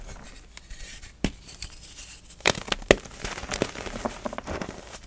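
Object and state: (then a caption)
Pressed gym chalk chunk crumbling. Fingers squeeze and snap small solid pink pieces of pressed gym chalk apart above a bed of chalk powder, letting crumbs fall. Sharp, dry cracks stand out over a soft, continuous crumbling crackle of falling bits.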